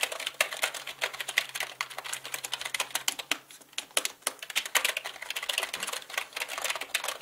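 Both hands type quickly with their fingertips on a black mechanical computer keyboard with plastic keycaps. A dense stream of sharp, bright, clicky keystrokes sounds with very short decay, over a faint low hum during the first half.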